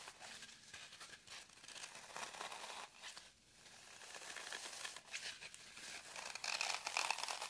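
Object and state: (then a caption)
Floral foam block being scratched. Long nails scratch and dig grooves into the face of a solid, crumbly green floral foam brick held in hand over a table. The sound is a dry, bright, crunchy scraping and crumbling with an irregular rhythm, a brief quiet gap near the middle, and growing intensity toward the end.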